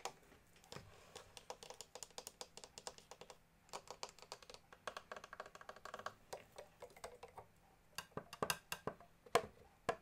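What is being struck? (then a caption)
Small plastic accordion casing and keys. Fingertips and nails tap rapidly across the top of the casing and the keyboard side of a small, hollow blue pearloid accordion with plastic keys, while the bellows are not played. The result is quiet, dry, clicky taps in quick bursts with brief pauses. Each tap dies away almost at once.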